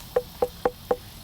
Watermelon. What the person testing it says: That sounds like a bucket of water.